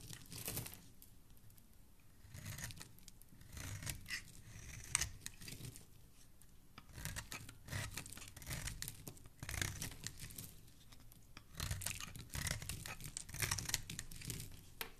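A solid pink soap bar held in the hand is scraped with a dark blade that has a blue handle, and the shavings pile up below. Repeated crisp, crackly scraping strokes come in bursts, with a bright hissing edge over a soft low thud between quieter pauses.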